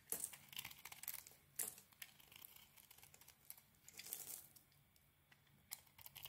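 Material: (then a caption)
Soap. A solid rectangular bar of soap, cream inside with a pink metallic coating and a heart print, is held in hand and scraped and shaved with a small metal blade as flakes fall away. Quiet, crisp crinkling and scratchy scraping sounds come in quick, uneven bursts, almost all bright and high with very little low end. Each stroke cuts off sharply, with no ring after it.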